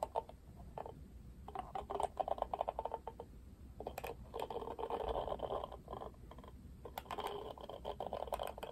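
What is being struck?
Plastic paddle hairbrush with plastic bristles.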